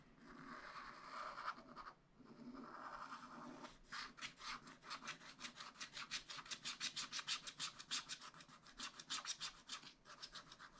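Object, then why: Wax-coated scratch-art paper scratched with a wooden stylus. A wooden stylus scratches a black wax-coated scratch-art sheet in a spiral-bound pad. It begins with a steady, papery rubbing scrape that pauses briefly near the two-second mark. From about four seconds on it turns into a rapid run of short, bright strokes at roughly three per second.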